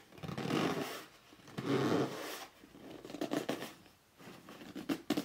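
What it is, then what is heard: Cardboard box, rubbed and scratched. Fingertips rub and scratch along the printed lettering on top of a hollow red cardboard box lying flat. Two long, swelling rubbing strokes with a dull, hollow midrange body and a bright scratchy hiss are followed by a series of shorter, quicker scratching and gripping strokes that end in a few sharper scrapes.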